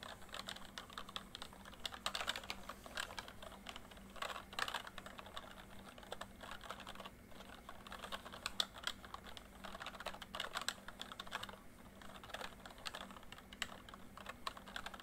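Fingertips type quickly on a full-size plastic MSI backlit membrane keyboard. The result is a dense, steady stream of short, bright plastic clicks that die out almost instantly, with a faint low hum underneath.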